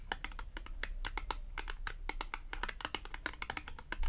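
Long acrylic nails tap and scratch a small, thin, flat green matte cardboard clothing tag. A rapid, uneven run of crisp, dry clicks with very short decay sits over a steady low hum, with brief scratchy strokes between the taps.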